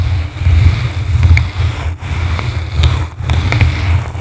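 Two blue plastic brushes scratch and rub a yellow foam microphone windscreen from the sides. The result is a deep, muffled rumble that swells and dips in waves, with faint bright scratchy ticks over the top.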